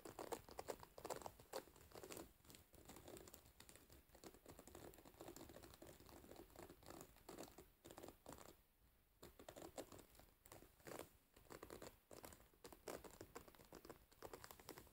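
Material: Metal pins.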